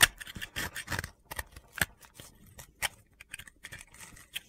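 A utility blade scrapes a small, solid, pale blue piece of dry soap held in the hand, breaking it into crumbs. A series of short, bright, crisp scraping and crunching strokes comes in uneven bursts, loudest at the start and thinning out toward the end.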